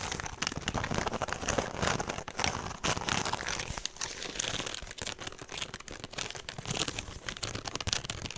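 Fingernails scratch along the side of a woven straw handbag with a rope strap, held sideways. The result is a steady run of dry, crinkly scratching made of many quick, overlapping strokes, bright and papery with little low end. The level rises and falls slightly as the scratching continues.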